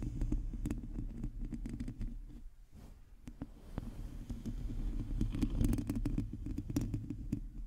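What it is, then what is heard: Metal mesh microphone grille being scratched. Long teal nails on both hands scratch a hollow, domed metal mesh microphone grille. The result is a dense, low, rumbling scratching with scattered sharp clicks. It briefly quiets midway before building back up.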